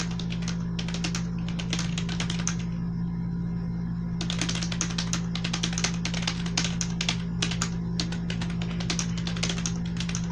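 A black plastic membrane computer keyboard with blue accents, resting on a bed, is typed on with fingertips and long nails. Bursts of soft, bright key clicks patter quickly, pause briefly near the middle, then resume. A steady low hum runs underneath throughout.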